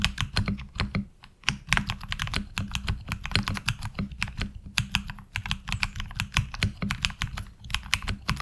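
Fingertips of both hands type rapidly on a HyperX Alloy Origins Core tenkeyless mechanical keyboard with ABS keycaps. The result is a fast, uneven stream of sharp, bright key clacks over a low, thocky body, each click dying away almost instantly.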